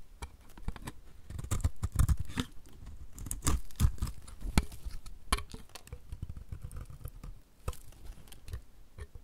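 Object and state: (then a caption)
Dry bar soap being scraped with a blade. A utility knife blade cuts and scrapes flakes off the edge of a solid, dry, oval pink bar of soap held in the hand. The result is a dense run of short, dry, crisp cuts and scraping crackles. Each cut has a quick click-like attack, a low thud beneath it, and almost no ring.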